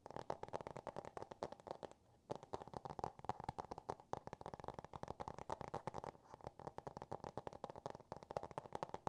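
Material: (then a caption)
Cardboard. Fingertips and nails rapidly tap and scratch the cardboard cover of a small, solid Dr. Seuss "Green Eggs and Ham" hardcover book with paper pages, held in both hands. The dense, dry taps have a hollow midrange knock around 800 Hz that dies away almost instantly. They run continuously with brief pauses near 2 and 6 seconds.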